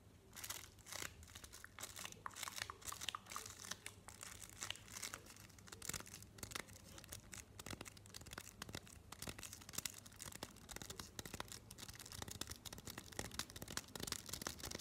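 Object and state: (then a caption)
Chocolate bar in paper wrapper. A solid Cioccolato Bianco white chocolate bar in a paper wrapper, held in both hands up close, is tapped and scratched with fingernails on the wrapper. Quick, dry taps mix with bright paper crinkling and scratching throughout, with no ring after each touch.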